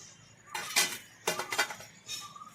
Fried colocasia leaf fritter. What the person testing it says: आवाज पण कसा येतो एकदम खणखणीत आवाज येतो